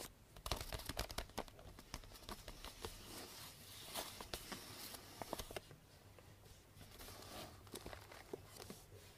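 A medium hollow cardboard box, wrapped in pink star-print paper with a purple ribbon and resting on a table, is scratched and tapped with long painted nails. Dense, crinkly paper scratching is punctuated by sharp, bright taps, busiest in the first half before settling into softer, steadier rustling.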